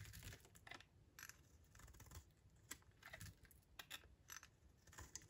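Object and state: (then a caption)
Dry soap bar. A utility knife blade cuts into a solid, dry, oval lilac soap bar held in the hand and scrapes off curls. It makes a run of short, crisp, dry scraping and crackling bursts that are bright in tone, over a soft low rumble.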